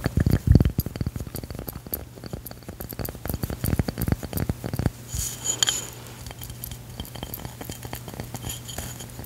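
A round, solid stone coaster with a cork backing is held in the hand and tapped and scratched with long pink nails. Quick, dense, dull taps and clicks fill the first five seconds, then give way to quieter scratching with a few bright, sharp clicks over a faint low hum.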